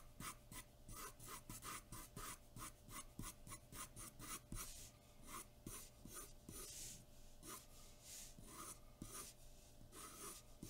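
A graphite pencil rubs and scratches over a large white sheet of drawing paper taped flat on a dark board, shading in rapid back-and-forth strokes. Each stroke gives a dry, bright rasp in a quick steady rhythm that loosens slightly toward the end, over a faint low hum.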